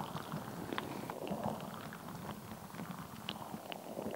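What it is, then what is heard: Rubber ball filled with water gel beads. A palm-sized translucent rubber stress ball full of red and green water gel beads is squeezed and squished in the hands, with long nails pressing into it. It gives a continuous low, wet squelching and rumbling, with short bright clicks and pops scattered throughout.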